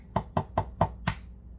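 The blunt end of a raw egg is tapped against something five times before cracking, giving short, dry knocks with a woody, hollow tone. The fifth tap is sharper and brighter than the rest.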